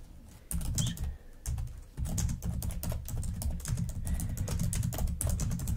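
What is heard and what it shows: A black plastic laptop keyboard is typed on with long nails and fingertips. Quick, bright clicking taps come in a short burst, pause briefly, then continue as a steady run over a low, muffled thump.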